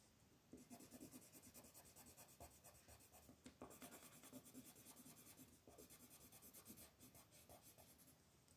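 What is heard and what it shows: An orange wooden colored pencil is rubbed back and forth across a flat white paper mandala coloring sheet, held by fingertips, to fill in the petals. The result is a steady run of quick, dry scratching strokes with a bright papery hiss.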